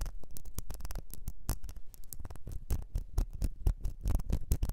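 A small, partly filled, ribbed clear glass perfume bottle is rotated in the hands while long nails scratch along its ribbed glass and tap its flat base. The result is a quiet, dense, irregular stream of short scratchy clicks and taps that stop quickly, with bright crisp edges over a soft low rumble.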